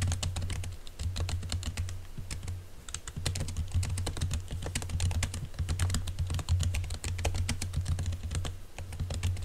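Fingertips of both hands type quickly on a laptop keyboard covered by a green silicone keyboard cover. The keystrokes come as a dense stream of soft, muffled taps with bright clicky edges. A steady low hum sits underneath throughout.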